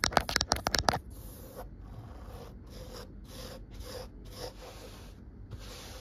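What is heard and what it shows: Long acrylic nail tips scratch and rub a grey-teal microfiber cloth laid flat. The first second holds about seven quick, sharp, bright scratches. These give way to quieter, hissy rubbing strokes that repeat with short pauses.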